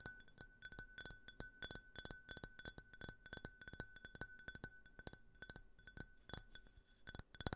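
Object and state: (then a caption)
Glass tumbler. A small, empty, clear faceted glass tumbler, held in both hands, is tapped with fingernails about 29 times in an uneven rhythm. Each tap is a quick, bright, glassy clink that dies away almost at once, over a faint steady tone near 1.5 kHz.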